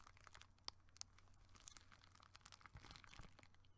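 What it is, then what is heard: Foil-laminated plastic bubble mailer. A gold, hollow, foil-laminated plastic bubble mailer envelope, held up in both hands, is crinkled, squeezed and scratched with fingertips and nails. A steady run of dry, bright crinkles and scratchy crackles plays over a low hum. Two sharp crackles stand out near the start.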